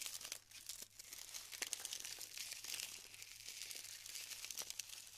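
Fingers rub and break apart clusters of glued styrofoam beads. A quiet, steady stream of dense crinkling, crackling and squeaky snapping fills the clip, bright and high with almost no low end.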